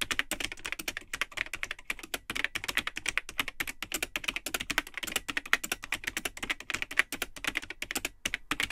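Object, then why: Plastic computer keyboard. Fingertips type continuously on the built-in keyboard of a vintage Tandy 1000 HX all-in-one computer, which has a hollow cream plastic case and yellowed plastic keycaps. The result is a rapid, steady stream of short, dry, bright plastic clicks and clacks with almost no ring and very little low end.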